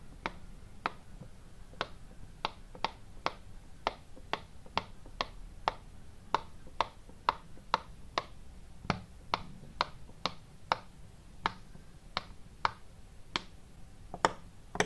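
Fingertips press and pop the hollow domed bubbles of a hand-sized, pastel, ice-cream-cone-shaped silicone pop-it fidget toy. Twenty-eight short, dry pops sound one after another at an uneven pace, each a crisp click centered near 900 Hz with a bright edge that dies away almost instantly. A faint low background rumble sits beneath them.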